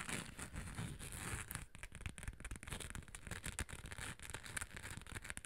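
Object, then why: Hard cosmetic case with chunky glitter coating. Long acrylic nails tap and scratch the gold chunky-glitter surface of a small rectangular hollow cosmetic case with a beige top, held close to the mic. A dense stream of quick, dry scratching and crackling clicks plays over a close, low rumble, with bright gritty texture on top.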